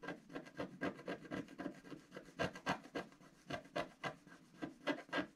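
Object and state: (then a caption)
Wax-coated scratch art paper. A wooden stylus makes rapid hatching scratches across a flat black sheet of wax-coated scratch art paper. About nineteen short, dry, raspy strokes come in a quick, slightly uneven rhythm, each a soft scraping rub with no ring after it. The sound stays quiet throughout.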